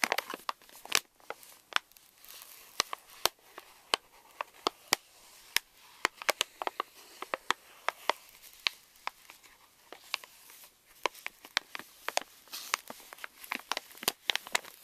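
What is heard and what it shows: Fingernails tap and scratch the back side of a Reese's candy pouch, a plastic foil laminate with a nutrition label, while the bag is held. Many sharp, bright clicks stand out over a steady, thin crinkling and scratching. The sound has almost no low end, and each tap dies away instantly.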